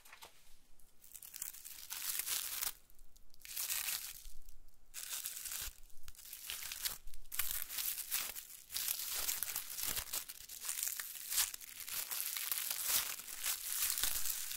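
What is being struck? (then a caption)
Thin metal leaf foil sheets. Thin, crinkled copper-colored metallic foil leaf sheets lie in a loose pile on a white table and are pressed, scratched and crinkled under long manicured nails. The result is a steady run of bright, crackly crinkling and tearing-like rustles, swelling and easing in dense bursts with a few brief quieter gaps.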